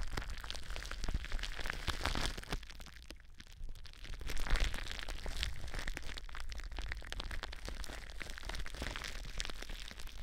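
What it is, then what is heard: Plastic bubble wrap. Long blue nails scratch the surface of clear plastic bubble wrap stretched over a mic form, producing a dense stream of bright, crinkly crackles and scrapes over a steady low rumble. The scratching thins out briefly around the third and fourth seconds before picking back up and continuing evenly to the end.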